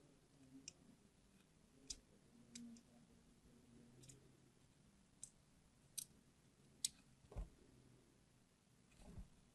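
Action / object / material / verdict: scrape / glycerin soap bar / glycerin soap / none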